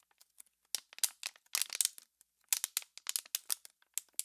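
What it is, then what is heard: Empty plastic water bottle being crinkled. An empty, clear, thin, hollow plastic water bottle is held in both hands with long pink nails and squeezed and crinkled. It gives quick bursts of sharp, bright crackling with almost no low end, each snapping off at once between short silent gaps.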